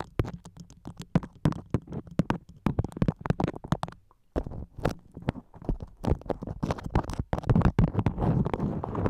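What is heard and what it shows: A floral beeswax-coated cotton food wrap moulded over a microphone head is scratched and tapped with long acrylic nails. The result is a rapid run of short, muffled, low-heavy taps and crackling scratches with almost no ring, broken by a brief pause near the middle and growing denser and louder toward the end.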